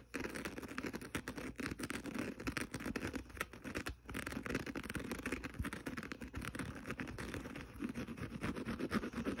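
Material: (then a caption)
Abrasive fibre. Fingernails of both hands scratch the green abrasive scouring side of a small kitchen sponge resting on carpet. A dense, continuous run of quick, dry scratching strokes goes on without pause, with a soft low-mid body and only faint brightness on top.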